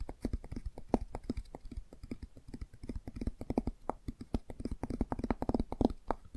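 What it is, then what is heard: Cardboard board book. Long nails tap quickly on the front of a closed hardcover children's board book with a laminated cardboard cover. The result is a rapid, uneven run of short, dry, clicky taps with a low-mid body and no ring after each hit.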